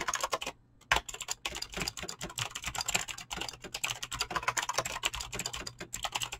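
Fingertips fast-type on a mechanical keyboard with clicky green switches and PBT plastic keycaps. A dense run of sharp, bright clicks and clacks is heard, with a brief pause near the start before the rapid typing resumes.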